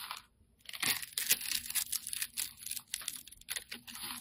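A steel utility blade cuts a grid into a hand-held, multicolored solid round soap puck in pastel colors and scrapes it into cubes. After a brief quiet moment at the start, dense bright, dry crunching and crackling scrapes follow in quick, uneven bursts with almost no low end and no ring.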